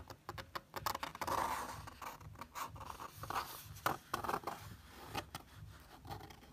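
A fingertip traces and rubs across a printed photo on a thin paper page of an open paperback. It makes soft, dry scratching and scraping strokes with a faint papery hiss and brief louder swipes.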